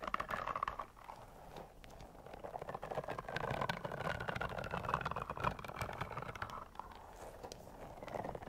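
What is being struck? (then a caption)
Soft rubber spiky toy. A long, pink, soft rubber spiky caterpillar toy is held up in the air with both hands while long nails scratch and rub its spikes. The result is a steady run of quick, irregular scratchy ticks and soft rubbery squeaks, with a mid-range squeaky tone drifting through the friction.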